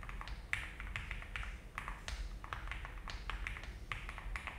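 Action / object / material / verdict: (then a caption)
tap / mechanical keyboard with plastic keycaps / plastic / none. A full-size-ish Alice-layout mechanical keyboard with a frosted translucent plastic case, cream and brown ABS keycaps (GMK Tiramisu) and a polycarbonate plate sits on a desk mat. Both hands type steadily with fingertips, pressing and tapping the keys. The result is a run of quick, short clacks with a bright click near 2 kHz over a low, steady rumble.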